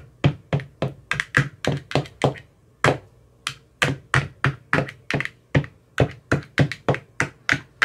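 An empty, translucent frosted plastic ice cube tray with 15 hollow compartments is tapped inside its cells with a thin metal rod that has a white rounded tip. Twenty-nine short, dry taps sound in an uneven rhythm with a brief pause partway through. Each tap is a hollow low thunk with a bright click on top that dies away almost instantly.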